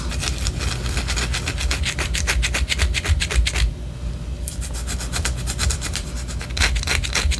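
Long orange acrylic nails scratch the top edge and side of a large white solid wax pillar candle in quick, rasping strokes, each a bright, dry scrape over a steady low hum. The scratching stops briefly near the middle, then resumes at the same brisk pace to the end.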